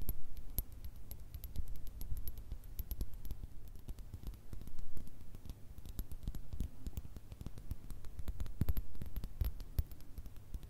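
Long red nails tap rapidly on the sides of a small clear glass jar with a cork stopper, partly filled with small pink and metallic items, held between two microphones. Quick, light, bright clicks come in an irregular stream over a steady low rumble, each tap dying away almost at once.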